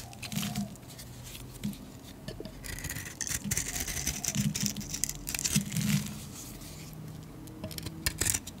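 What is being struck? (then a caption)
Bar of soap shaved with a metal blade. A solid yellow painted soap bar, held in the hand, is shaved with a metal blade, producing crisp, dry scraping and pattering with bright hissy bursts over soft low thuds. The blade is briefly lifted between strokes, leaving short quieter gaps between the shaving passes.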